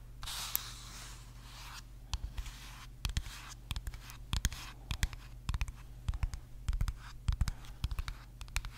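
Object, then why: Small plastic bottle with liquid. Fingernails tap and scratch the body of a small clear plastic bottle with a white cap and liquid inside, held up in one hand. A soft, bright scratching rasp fills the first couple of seconds, then gives way to sharp, quick taps in uneven clusters over a steady low hum.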